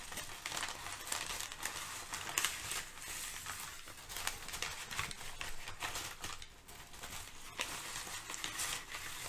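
Thin sheets of brown kraft packing paper are crumpled, crinkled and shifted by both hands. A steady, bright crackle fills the clip, with sharper crinkles standing out from the dense rustling.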